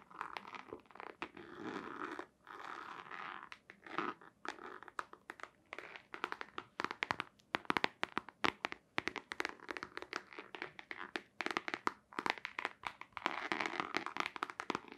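Long nails scratch and tap a long, hollow white cardboard box with a black stripe as it is held vertically and tilted. Dry, crunchy scratching alternates with rapid, sharp clicking taps that stop dead with no ring. The sound sits in the midrange with a bright edge and almost no low end.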